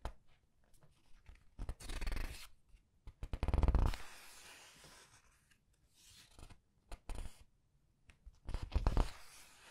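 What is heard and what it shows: Fingers with long nails press, squeeze and turn the glossy paper pages of a large art book. Soft scratches and taps alternate with louder rustling, crinkling swells as pages are squeezed and flipped, the loudest near the middle and the end of the clip.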